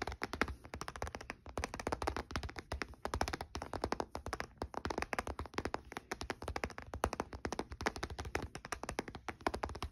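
A closed olive-grey plastic Nintendo DS Lite, a small hollow handheld game console with electronics inside, lies on a dark blue blanket and is tapped rapidly on its lid and edge with short-nailed fingertips. The taps come as a fast, steady stream of short, dry clicks and soft hollow knocks with a low thump and almost no ring.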